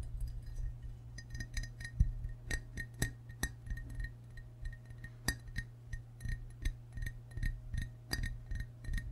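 Fingertips and short nails tap the white belly and green sides of a hollow, glazed ceramic frog mug held in both hands. The result is a steady run of light, quick clinks with a bright ring that dies away almost at once, over a constant low hum.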